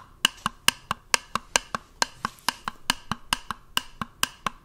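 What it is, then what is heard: Plastic jar, hollow. A small, round, white plastic cosmetic-style jar or lid, closed and hollow, is held in one hand and tapped with the fingers of the other hand close to the microphone. About 21 quick, dry clicks come in a loose, uneven rhythm. Each click is bright and hollow with a tone near 2.7 kHz and almost no ring.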